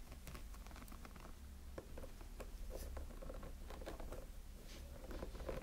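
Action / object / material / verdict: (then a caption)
scrape / small hollow silicone snowman figure / silicone / none. Nails and fingertips scratch the sides of a small, hollow light-up snowman figure with a textured silicone body. The result is quiet, dry scratching and soft patter, with faint squeaky tones near 530 Hz over a steady low rumble.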